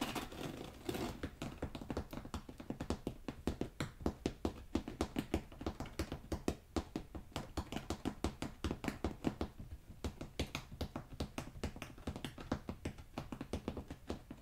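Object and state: Carpet remnants.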